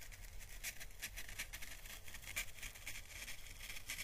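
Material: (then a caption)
Dried plant husk. A small, hollow, dried orange Chinese lantern husk (papery plant calyx) held in the fingers is brushed and lightly crackled with paintbrush bristles. This makes a quiet, steady run of soft, bright papery scratches and crackles centred around 2.4 kHz, over a low rumble. Each scratch dies away almost at once.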